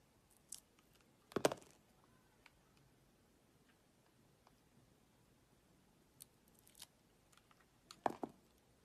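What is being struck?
Bar of soap cut with a blade.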